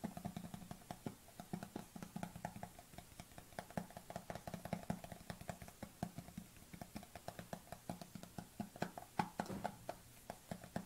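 Long nails tap rapidly on the lid and side of a white plastic supplement tub with a lid, held tilted, while a black tub sits idle on the table. The clip is a steady stream of quick, dry clicks with a hollow low knock and a faint mid tone near 840 Hz, each tap dying away almost instantly.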